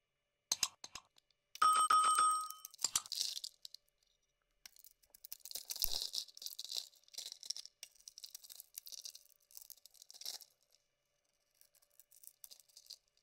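A pink, oval, hand-sized solid Avon Care soap bar is held in the palm and shaved with a metal utility-knife blade in a scraping, carving motion. A few sharp ticks open the clip, then a brief tonal ring with overtones sounds through a burst of scraping. After that come long stretches of bright, crisp shaving and crumbling scrapes with short pauses between them.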